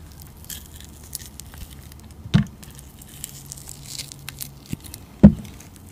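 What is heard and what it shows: A utility knife blade scrapes and shaves the surface of a round, solid, translucent clear glycerin soap disc with green glitter and a blue painted rim, held in the palm. Quiet, soft crackling scrapes run throughout, and two louder, dull cutting crunches stand out midway and near the end.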